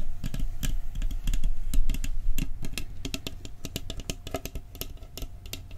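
Fingertips quickly tap the lid and rim of a round, decorated, hollow metal cookie tin held in front of the microphone. The result is a fast, uneven run of short, bright tinny clicks with little ring, over a steady low hum. The tapping gradually grows softer toward the end.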